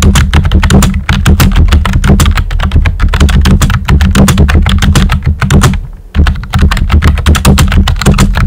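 Fingertips with short nails type rapidly on a full-size pink plastic computer keyboard with a hollow body and round white typewriter-style plastic keycaps. The result is a steady, dense stream of clicky keystrokes with a deep, hollow low thump under each tap and brighter clacks on top. The typing briefly pauses near the six-second mark before resuming.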